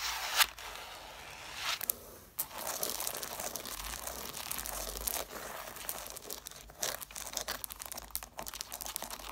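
Long nails scratch along the spines and cloth covers of a solid stack of red cloth-bound hardcover books. The result is a dense, bright, raspy scratching with a papery, tearing texture, broken by a few sharp clicks and brief pauses. There is almost no low end.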